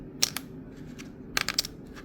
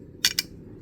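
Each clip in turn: First: plastic memory card dropped. Second: resin memory card dropped on metal.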